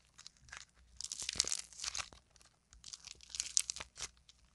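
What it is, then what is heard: Modeling clay lump being torn. A solid, palm-sized lump of purple and yellow modeling clay is squeezed, folded and torn by hand with long nails. It makes dry, bright crackling and tearing crunches in two dense bursts separated by a brief pause, with almost no low end and no ring after each snap.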